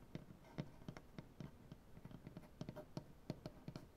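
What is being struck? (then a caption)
Wooden butcher-block tabletop. Both hands tap the nail tips on a solid light wood butcher-block tabletop. The result is a quick, irregular run of short, dry, low knocks with little ring, plus faint clicks over a soft background hiss.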